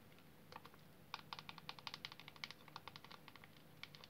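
A small, solid, oval green bar of soap, soaked soft, is held in a basin of foamy water and squeezed and rubbed by both hands with long painted nails, while other bars sit submerged nearby. Quick, irregular squishy clicks and crackles come in clustered bursts over a faint low background, brightest through the upper mids. The sound starts sparse, thickens in the middle, then thins out toward the end.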